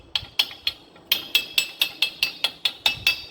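Thirteen sharp, bright taps drive a rubber and metal oil seal into its aluminium housing on the lower unit of a Yamaha F-100 four-stroke outboard motor during an impeller oil seal replacement. Each tap is a short, high-pitched click ringing near 2.6 kHz and dying away quickly. The seal ends up fully seated.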